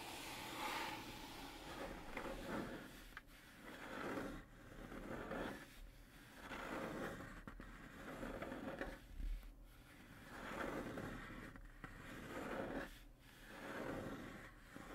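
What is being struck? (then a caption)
Hardboard fiberboard panel. Short fingernails and fingertips slowly scrape the surface of a thin, solid, flat brown hardboard fiberboard panel resting on a table. Soft, grainy scraping strokes rise and fade in slow, uneven waves, with a dry rasp and little ring after each stroke.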